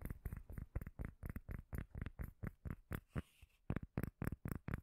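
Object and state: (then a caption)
Cork lid. A small, solid, round cork lid held close to the mic is tapped and scratched with long nails. About 22 dull, bassy taps come in a quick, uneven rhythm, each a short low thud that dies away almost at once. A softer scratchy stretch breaks the pattern briefly near the three-second mark.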